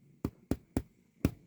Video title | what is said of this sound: Baking connects you to a long human tradition of slowing down and caring for others. | I like to tap the tops if it sounds hollow. It's usually done.